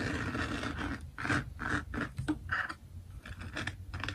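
Fingertips and nails of both hands scratch and rub across a flat, finished diamond painting made of plastic resin drills on canvas. A steady, gritty rasp rises into a series of short, brighter scraping bursts over the textured surface, with a low underlying rumble.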